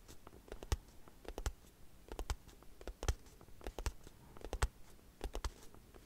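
Long acrylic nails tap and scratch a small, closed-looking white cardboard product box with a hanging tab. About two dozen sharp, dry clicks land in an irregular rhythm, with soft scratching in between. Each tap stops almost instantly, with no ring.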